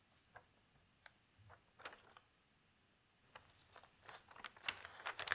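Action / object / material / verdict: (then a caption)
scrape / newsprint newspaper / paper / none. A thin newsprint newspaper lies open flat on a table beside other untouched papers, while hands with long pink nails smooth its pages and turn a large sheet. Soft, bright crinkles and rustles come in scattered bursts at first, then build into denser, louder crackling as the sheet turns near the end.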